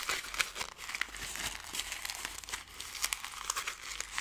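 A ball of thin gold foil paper is squeezed and crinkled up close by fingers with long nails. It makes a steady, bright crackling full of sharp little snaps, mostly high-pitched with almost no low end. Each crackle dies away almost instantly.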